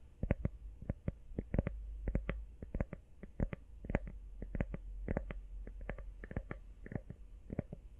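A small, hollow, empty teal rubber iPhone case is tapped quickly with long nails, first held upright and then sideways. The result is a rapid, uneven run of short, dry clicks, each with a soft low thud and almost no ring.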